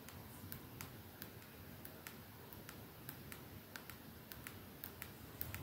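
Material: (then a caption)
Glass. A 212 capsule perfume bottle with clear glass ends and a silver band, held up in both hands, is slowly tapped and scratched with long nails. About 16 quiet, sharp, bright clicks sound at an unhurried pace over a faint low rumble, each dying away quickly.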